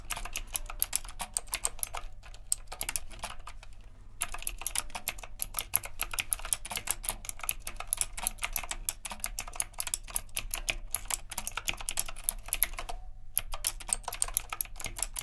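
Fingertips type continuously on a retro typewriter-style mechanical keyboard with round plastic keycaps and a metal frame. A rapid stream of short, sharp, bright clicks runs over a steady low hum, with brief pauses near the 2-, 4- and 13-second marks.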